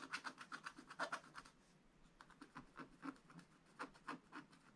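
A wooden stylus tip scratches repeated strokes across a black-coated scratch-art paper page in a spiral book, filling in a red barn. Quick, dry, papery scratches come in rhythmic bursts with a bright rasp, pause briefly, then resume in another run of short strokes.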